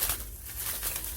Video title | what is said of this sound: 꽃대 성장이 멈춰 있던 원종 호접란 #원종호접란꽃대 #호접란기공 #거실난초가드닝 | 잎이 단단해서 이렇게 손으로 이렇게 만지면 훑고 이렇게 만지니까 찰랑찰랑 소리가 나는 것 같습니다